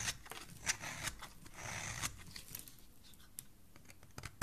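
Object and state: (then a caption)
Bar soap being shaved. A solid cream bar of soap, held in the hand, is shaved with a metal utility blade that peels off thin curls. It makes crisp, bright scraping strokes with a dry, papery rasp and a few sharper clicks where the blade bites in. The sound is quiet and close.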